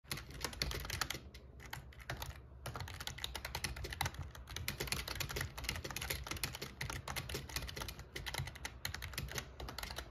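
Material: Plastic.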